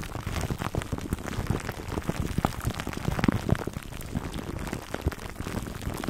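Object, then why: Foam microphone cover wrapped in plastic film. Fingertips scratch a foam microphone cover wrapped in clear plastic, producing a dense, continuous crinkling and crackling that is heavy in the low end. Many short, sharp ticks pop out over a steady rustling bed throughout.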